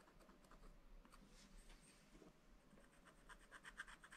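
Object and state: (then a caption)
Scratch-art paper being scratched. A wooden stylus scratches and rubs the black coating off a sheet of scratch-art paper in a spiral pad. The result is a quiet, continuous dry scratching with short, brighter scrapes that get busier toward the end.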